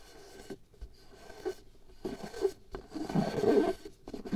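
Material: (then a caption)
Latex. Long nails tap and scratch a pale latex glove membrane stretched taut over the mouth of a small hollow glass jar held in one hand, at times near the jar rim. Soft, dry scrapes and quick taps come in uneven bursts with a hollow, muffled tone centered around 390 Hz, growing busier and louder toward the end.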